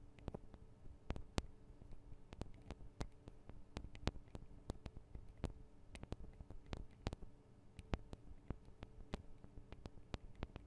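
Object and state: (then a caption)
Metal microphone capsules tapped with nails. Long acrylic nails tap on the tops of the small metal microphone capsules of a Tascam DR-40 recorder, giving a quiet, irregular run of sharp, bright clicks that stop almost instantly. A steady low hum sits underneath the taps throughout.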